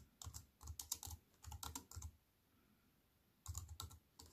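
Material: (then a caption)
Plastic. Fast two-hand typing with fingertips and long nails on a compact wireless keyboard with an aluminium body and plastic keys. Quick runs of sharp, bright key clicks each carry a soft low thump. A silent pause of just over a second splits the runs before the typing picks up again.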